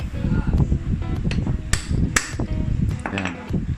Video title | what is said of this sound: PALIT KNUCKLE BEARING TANGAL LAGUTOK (YAMAHA MIO SPORTY, SOULTY) | yung tunog na dikit na, yung light na lang, hindi na medyo basi. Ayan, light na yung tunog.